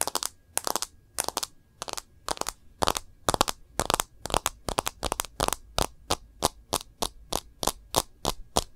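Long nails tap the edge of a smartphone's rose-gold plastic case and its glass screen. Short, bright, dry clicks come in quick clusters at a steady, even rhythm, and each one dies away almost instantly with no ring.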